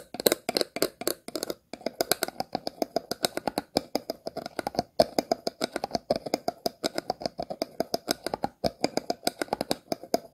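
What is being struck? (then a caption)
Plastic water bottle. Scissors scratch across the ridges and star-shaped base of an empty, hollow, clear plastic water bottle. The result is a fast, steady run of short, dry clicking scrapes with a hollow midrange tone around 480 Hz and bright, crackly highs. Each stroke dies away almost instantly, with only a couple of brief pauses.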